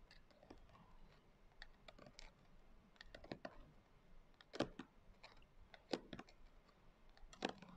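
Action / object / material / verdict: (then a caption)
tap / hardcover journal with coarse glitter cover / glitter board / none. Long nail tips tap and scratch across the coarse glitter cover of a closed hardcover journal. The result is quiet, irregular clicky taps mixed with dry, gritty scratching, with a few sharper, louder taps standing out near the end.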